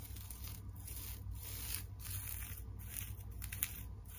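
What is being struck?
Plastic tinsel over a wire-frame teddy bear.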